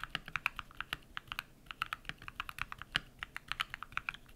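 A compact modded mechanical keyboard with white PBT plastic keycaps and lubed switches is typed on rapidly with bare fingertips. About thirty short, dry clacks follow in quick succession, bright and crisp in the upper midrange, with little low end and almost no ring after each press.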